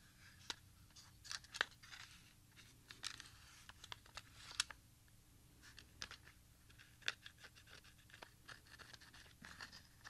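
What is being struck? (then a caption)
Plastic audio cassette. A small RadioShack XR-60 audio cassette, with a black plastic shell and tape reels inside, is held in both hands, flipped and squeezed with fingertips. This produces quiet, irregular, bright plastic clicks and creaks with brief scratchy rustles over a faint steady low hum.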